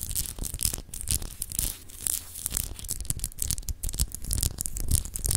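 Long acrylic nails scratch a palm-sized solid clear glass globe paperweight with etched continents, held in the hand. Quick, irregular scraping strokes produce bright, gritty rasps over a steady low rumble, each stroke stopping dry with no ring.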